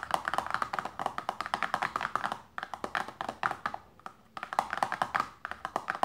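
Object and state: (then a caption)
Paperboard lotion box. Long nails and fingertips tap fast on a small, closed, hollow printed paperboard lotion box resting on fabric. About 38 crisp, hollow, mid-pitched taps come in quick bursts, each one dying away instantly, with brief pauses near 2.5 and 4 seconds.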